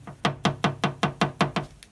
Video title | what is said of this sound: ND Miata lots'O Al | Listen to how more solid that sounds